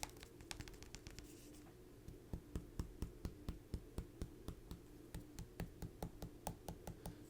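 Knuckles knock a yellow, star-shaped Mystic Star pumpkin in a fast run of short, dull taps, starting soft and scattered and then becoming a steady series of louder knocks. Each knock is low and thuddy with almost no ring. The result is a very firm, solid sound, the mark of a freshly picked pumpkin rather than a hollow or spongy one that won't last.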